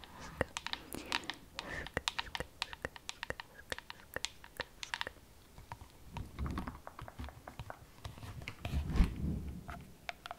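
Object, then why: Plastic LED night lamp. Long acrylic nails tap rapidly on the curved surface of a glowing, frosted plastic cylindrical LED night lamp, hollow and about hand size, producing a dense run of short, sharp, bright clicks that die away almost instantly. Soft, wet mouth sounds swell in and out underneath, especially near the middle and end of the clip.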